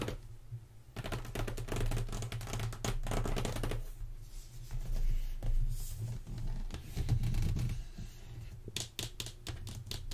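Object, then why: Closed corrugated cardboard box. Long nails scratch and tap the lid and side of a closed, hollow black corrugated cardboard box as it is lifted and turned in both hands. Quick, irregular taps and rasping scratches come in dense bursts over a low, hollow thump, with each tap dying away almost at once.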